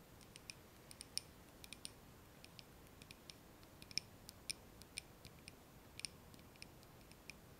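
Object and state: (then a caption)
Glass candle jar tapped with nails. A small glass candle jar filled with solid wax, its candle lit, is held in both hands and quickly tapped on the glass with long nails. About two dozen sharp, bright clicks come at an irregular pace, some carrying a high glassy ping that dies away almost instantly. They sit over a quiet, steady hiss.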